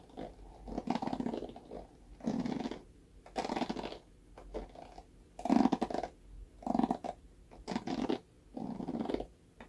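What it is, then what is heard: Plastic paddle hairbrush. Fingernails scratch across the dense bristles of a hand-sized, rectangular red plastic paddle hairbrush with a black cushion pad, held by its handle. Short bursts of dry, rasping scratching repeat at an uneven pace, with quiet gaps between strokes. The tone is mostly mid-range, with a faint bright hiss on top.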